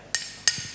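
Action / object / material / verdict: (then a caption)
strike / iron piece struck with a hammer / iron / intact. A hammer knocks a piece of iron twice, giving two sharp, bright metallic clinks with a short high ring. The iron is unharmed by the strikes.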